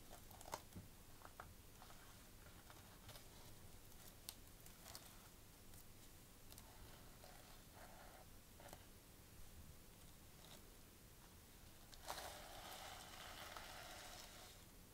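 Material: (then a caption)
Plastic sequins. Long nails scratch and flip the gold plastic sequins on a sequin-covered notebook cover. Soft, irregular clicks and rustling scratches play at a low level, with brief sharp ticks. Near the end, a brighter, sustained scraping swell rises.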